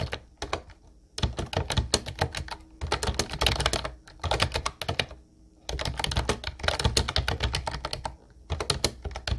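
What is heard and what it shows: A light blue plastic Ubotie retro keyboard with round white keycaps is typed on continuously with the fingertips. Dense bursts of clicky, clacky keystrokes with a bright top and a low thocky body come in runs separated by brief pauses.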